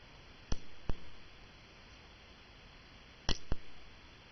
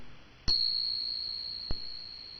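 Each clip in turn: First: cupronickel crown coin, not silver. Second: genuine silver dollar coin.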